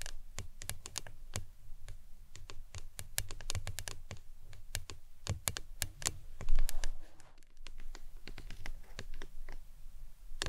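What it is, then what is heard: Plastic tumbler cup tapped with nails. Long acrylic nails tap rapidly and irregularly on a tall, printed, hollow plastic lemonade tumbler that appears empty, turned upside down with its green lid resting on a towel. Each tap is a sharp, bright click over a dull, low, hollow thud that dies away almost at once. The tapping briefly swells louder before settling back into a steady patter.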